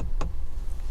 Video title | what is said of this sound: 2020 Porsche Panamera 4 In Depth Review | That's the sound of metal.